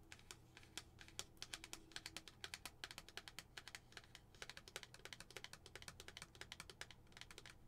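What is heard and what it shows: Long nails tap quickly and lightly on a lidded glass tumbler filled with tissue as it is turned from its tag side to its printed side. The result is a steady stream of dry, bright clicks that die away almost instantly, over a faint low hum.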